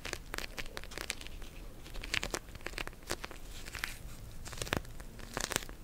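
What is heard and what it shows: Long nails quickly scratch and tap a pink plastic cold pack filled with gel beads. The result is a dense run of sharp, crinkly ticks and scratchy bursts that reach up into the bright range. Each one stops almost instantly, over a soft low rumble.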